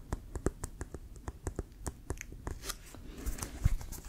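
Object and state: Composite leather football.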